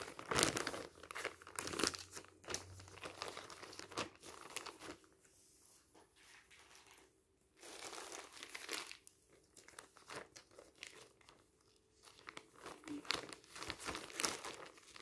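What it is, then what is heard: Plastic film wrapper crinkled. A thin, loose, clear plastic sleeve wrapped around a Kampioen magazine, resting on a stack of papers, is lifted and crinkled by fingertips. Bright, dry crackling and rustling comes in bursts, with quieter, softer stretches in between. Each crinkle dies away almost instantly.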